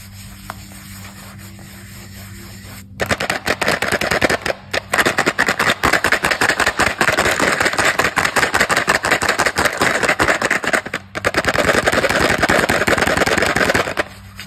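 A small printed cardboard Chupa Chups Babol bubblegum box, likely hollow and packed with gum, is held in both hands while fingertips rub and scratch across its surface, possibly working at the wrapping. After about three seconds of quiet low hum, dense, rapid, crackly scratching starts and runs nearly to the end, with brief pauses near 4.5 and 11 seconds. The sound is dry and papery, centered in the mids with a bright edge.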